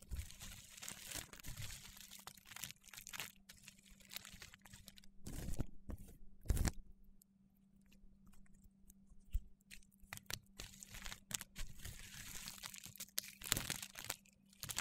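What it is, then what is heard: Dried soap shavings being crushed. Fingertips press into a heap of thin, curled, brittle dried soap shavings in pastel purple, blue, orange and white, crushing them. The result is dense, crinkly, crunchy crackling with bright, sharp edges, rising in a few louder bursts over a faint steady low hum.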